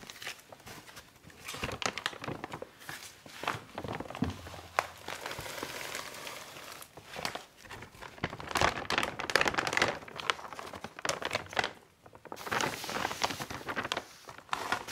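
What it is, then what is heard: Plastic bag of garden soil being handled. Gloved hands grab and handle a large, full, yellow printed plastic bag of flower and vegetable garden soil that is opened at the top. The plastic crinkles and crackles in dense, bright bursts of varying loudness, with a brief lull near the twelve-second mark before the handling resumes.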